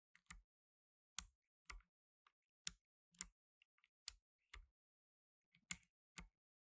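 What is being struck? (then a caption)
Plastic mechanical keyboard keys. Blue nitrile-gloved fingertips press the plastic keycaps of a black tenkeyless mechanical keyboard, producing nine sharp, separate key clicks over quiet pauses. Each click is bright and high with a faint low thump and dies away almost instantly.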